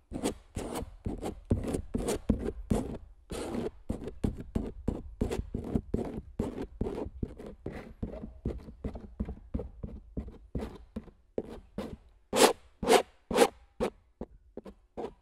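A palette knife scratches and traces across the coated surface of a large stretched canvas print with a recorder lying on it. Quick, dry, irregular scraping strokes, about two per second, sit mostly in the low-mid range with little ring. A few louder, sharper strokes come near the end.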